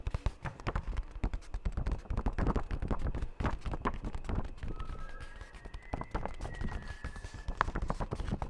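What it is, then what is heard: Paper sheet. Fingertips rapidly tap and rub a single thin sheet of white letter-size printer paper held up in one hand, making the sheet flex. The result is a dense run of soft, dull, low-heavy thumps and crinkly rubbing, with a faint thin tone gliding through partway.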